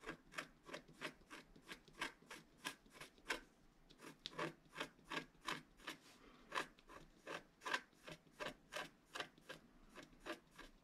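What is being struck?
Black-coated paper scratch art card scratched with a wooden stylus.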